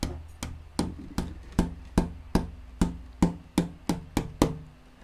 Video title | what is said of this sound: Build Your Own Acoustic Guitar - Braces- LIVE! Soundboard X-Braces | it's a really big wob sort of like a bassy sound